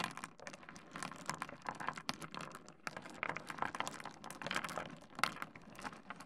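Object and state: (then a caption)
Small pebbles shuffled on wood. Fingertips rake and shuffle a pile of small solid pebbles spread on a wooden desk, producing a dense, steady stream of quick, dry clicks as the stones knock together and tap the wood. The sound is bright and crisp with little low end, and each click dies away almost instantly.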